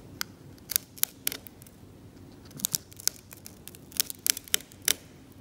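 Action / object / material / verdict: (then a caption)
scrape / varnished oil paint layer on canvas scraped with a metal scalpel / oil paint / none. A metal scalpel held in the fingers scrapes paint and varnish off the blue-grey ground of a flat, cracked, varnished oil painting on canvas. A series of short, bright, crisp scratches is heard, each dying away almost instantly, over a quiet background.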